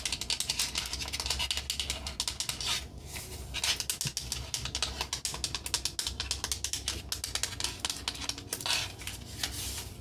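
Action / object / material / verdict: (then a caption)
tap / painted wooden peg rack / wood / none. Long nails rapidly tap and scratch the flat solid slats of a red painted wooden accordion peg rack with knob pegs and a small metal hanger plate. A dense stream of quick, dry, bright clicks with almost no ring is mixed with brief scratchy swishes, over a faint steady low hum.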